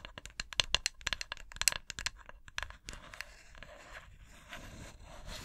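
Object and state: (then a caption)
Glass candle jar with metal lid. Long acrylic nails tap and scratch the side of a snowflake-printed glass candle jar with a metal lid rim, held in both hands. A rapid run of sharp, bright clicking taps gives way to a softer, steady high scratching.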